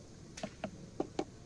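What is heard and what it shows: Four short, clear, hollow knocks on a wooden beehive, tapped to judge its honey reserves by the sound. Each knock dies away almost at once, with a mid-low tone around 300 Hz. The clear sound means the hive is nearly empty: its frames are dry, with only a little honey.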